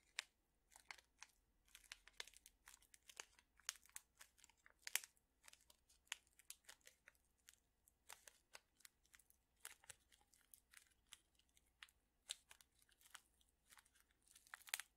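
A small, flat paper-foil Lipton tea bag envelope is folded and crinkled with the fingertips. It makes quiet, bright, crackly crinkles and sharp little snaps in quick, uneven bursts throughout, with almost no low end and no ringing after each crackle.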